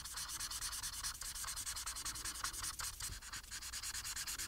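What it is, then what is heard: Paper coloring sheet. The felt tip of a plastic marker, held in the fingers, rubs across a thin printed paper coloring sheet with a Harry Potter picture lying flat on a surface. About forty quick, even coloring strokes produce a steady, bright, hissy scratching with very little low end.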